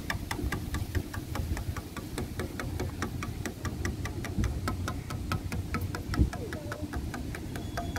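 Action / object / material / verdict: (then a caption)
tap / wooden bench slats / wood / none. Fingernails tap quickly on grey, weathered, solid wooden bench slats outdoors, making a steady run of short, dry clicks that die away almost instantly. Underneath the tapping is a constant low rumble.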